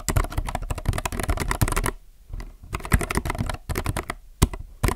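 Fingertips type on a compact mechanical keyboard with plastic keycaps, producing bursts of fast, clicky key presses with a deep low thump under each stroke. The typing pauses briefly twice between runs of keystrokes.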